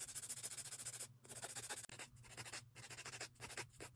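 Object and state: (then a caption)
Acrylic nails filed with an emery board. A grey emery board files the edges of long acrylic nail extensions on a hand in quick, repeated scratching strokes. The rasping sound is quiet, bright and hissy, with brief pauses between runs of strokes.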